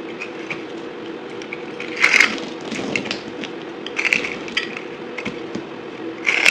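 A solid white bar of soap with a blue edge is held in the palm and shaved into crumbly chunks with a metal knife blade. Bright, dry scraping and crunching crackles run throughout over a faint low hum, with louder crumbling bursts rising around two, four and six seconds in.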